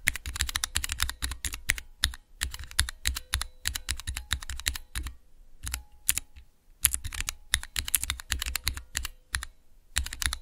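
Fingertips rapidly press and type on the clear plastic keycaps of a small, hollow plastic switch tester fitted with Cherry MX switches. The result is a fast stream of sharp, bright clacks with a hollow low thud under each one. The keystrokes come in quick bursts separated by short pauses, and each click dies away almost instantly.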